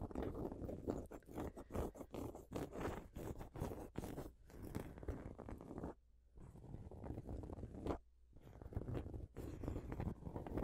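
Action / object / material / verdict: scrape / fabric-covered throw pillow / fabric / none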